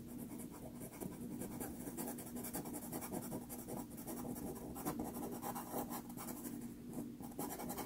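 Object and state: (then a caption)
Pastel paper scratched with pencil. A wooden-cased teal pastel pencil held in the fingers scratches short strokes across a small 4.5-inch square of sanded Pastelmat paper, a solid thin sheet taped flat to a board. The sound is a continuous, dry, gritty scratching with brief rises as each stroke lands.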